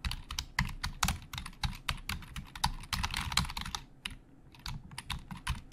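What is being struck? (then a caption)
Plastic computer keyboard keys. Fingertips of both hands type fast on the hollow plastic keys of a black plastic Logitech full-size keyboard resting on a desk. A rapid, uneven run of sharp, bright clicks sits over dull low thuds, each dying away almost at once. The typing eases off briefly around the four-second mark, then resumes.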